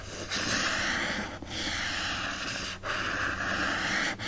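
Fingertips lightly scratch and rub the lower front cover of a hand-held hardcover book with a printed paper-covered board cover. Three long, steady passes of dry, hissy friction are heard, split by brief dips, with the brightest energy around 1.7 kHz and little low end.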